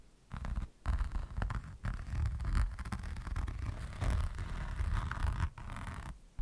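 A flat diamond painting canvas covered in resin rhinestone drills is scratched across its beaded surface by the fingertips and nails of one hand. The result is a dense, continuous scratching and scraping, with a low rumbling body and brief quieter pauses between bursts.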